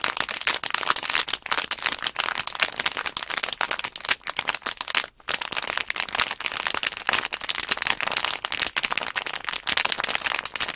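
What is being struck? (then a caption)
Sealed plastic bag holding small plastic blocks. Long nails tap and scratch the film of a small sealed plastic Nanoblock package bag, held upright with the plastic blocks inside. The result is a dense, bright crinkling and rattling of quick, dry taps and scratches, with a brief pause around five seconds before the crinkling resumes.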